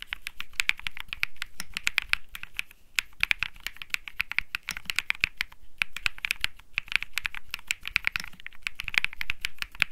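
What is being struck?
Mechanical keyboard with aluminium case, polycarbonate plate and plastic keycaps.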